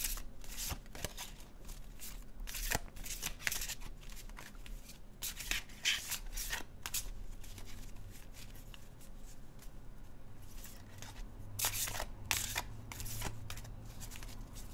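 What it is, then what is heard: Tarot card deck being shuffled. A small, solid hand-held deck of laminated cardstock tarot cards is shuffled by hand with the fingertips, while other decks lie still on a cloth-covered table. Bursts of bright papery riffling alternate with sharp slaps and soft rubbing as the cards knock against each other. A low, steady hum runs underneath throughout.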